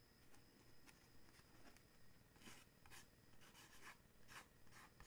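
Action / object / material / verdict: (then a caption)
scrape / paperboard gift box / paperboard / none. Fingernails scratch and tap the front of a small, dark, printed paperboard gift box, likely holding a coffee mug, which is held in the other hand. The result is quiet, dry, rasping scrapes with soft taps, each burst bright and short with no ring, repeating at an uneven pace over a low rumble.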